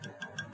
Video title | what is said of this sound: #11 - Nuts - Gross Oversimplifications: Guitar Maintenance Tips and Tricks in ~3 minutes | if you tap it you can hear it and if you hear that so that means there's enough space